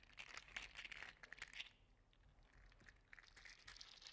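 An orange and gold segmented 3D printed PLA articulated slug toy is squeezed and flexed by hand, making its plastic segments clack together. Dense, bright, crinkly clicking bursts centered around 2.2 kHz fill the first second and a half, then fade to a quieter stretch of softer, scattered clicks that pick up again toward the end.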